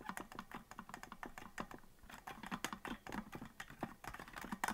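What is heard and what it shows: Fingertips of both hands tap the plastic keys of a hollow green plastic melodica that is not being blown, producing a rapid run of quick, dry clicks. The clicks come in uneven bursts over about five seconds, each with a short, bright snap and a soft low body.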